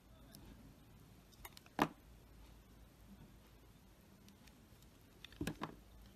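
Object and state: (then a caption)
Glycerin soap bar being scraped. A box-cutter blade scrapes thin layers off the face of a solid, palm-sized, green translucent Pears glycerin soap bar. Over a quiet low hum, a sharp, crisp scrape stands out early, followed after a pause by a short cluster of quick scraping strokes near the end.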